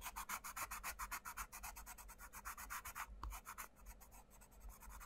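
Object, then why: Pencil on a paper book page. A wooden coloured pencil rubs and scratches across the paper page of an open paperback colouring book on a table while the other hand flattens the page. Quick, rhythmic back-and-forth strokes, about four per second, make a bright, dry rasp that is steady at first. After a brief soft thump, the scratching continues quieter and less evenly.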